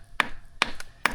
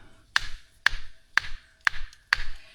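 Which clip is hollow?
The first.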